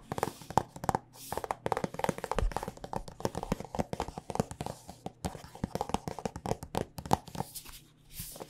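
Long painted nails tap rapidly on a soft plastic squeeze tube of body lotion that is partly full. The result is a steady stream of short, dry, hollow clicks and taps with a mid-range tone, and a faint low hum runs underneath.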